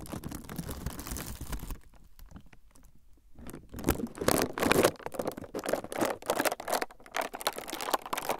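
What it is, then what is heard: Clear plastic film sheet being crumpled. A thin, clear plastic film sheet is held in both hands in front of the recorder's microphones while fingertips squeeze and crumple it. The result is a dense, irregular crinkling with bright, crackly bursts. After a quieter, sparser stretch around the second to third second, the crumpling grows louder and busier through to the end.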